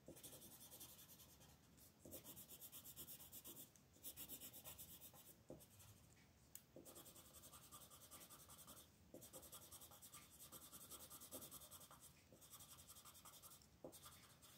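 A blue colored pencil, held in a hand with long red nails, shades continuously across a flat paper coloring page lying on a table. The result is a quiet, steady scratchy rubbing with bright, hissy grain, broken by brief pauses as the strokes change.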